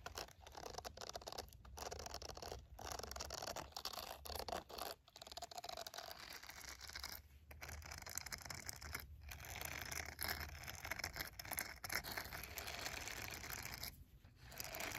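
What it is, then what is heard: Silicone scrubbing glove. Fingertips and long nails scratch and tap across the bristle nubs of a green silicone scrubbing glove lying flat. The result is a steady, bright, crackly rustle of dense scratching with light tapping, broken by a few brief pauses.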